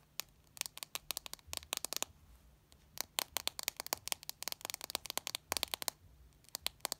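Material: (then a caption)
Plastic, glass. A small, solid white Samsung smartphone with a plastic back and glass screen, resting on a shag carpet, is tapped and scratched across its screen and back with fingertips and long red nails. About thirty quick, dry, bright clicks come in fast irregular bursts, each dying away almost instantly, with faint scratchy rustle between them. A steady low hum sits quietly underneath throughout.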